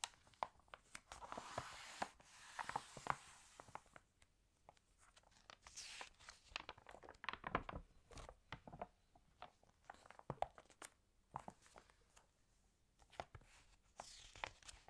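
A large open Marie Claire fashion magazine of glossy paper is handled as fingertips smooth across the spread and long nails turn a page. Soft brushing swishes and crisp crinkles, ticks and nail taps come in quiet bursts, with louder rustling sweeps as the page lifts and settles.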